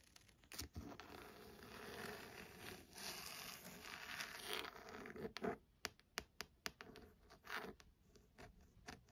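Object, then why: Hardcover book with embossed faux-leather cover. Long glossy acrylic nails scratch and tap the textured, embossed faux-leather cover of a maroon hardcover book with gold lettering lying flat on a desk. Several seconds of steady, bright scraping and rustling give way to a series of sharp, dry taps with soft scratches between them, each tap dying away almost instantly.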